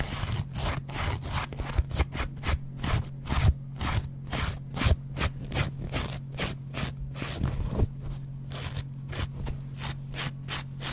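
A yellow foam kitchen sponge with a green scouring backing is held in the hand while its foam side is repeatedly scratched and scraped with a metal double-edge razor blade close to the microphone. A rapid series of short, dry, bright scraping strokes repeats throughout, over a steady low hum.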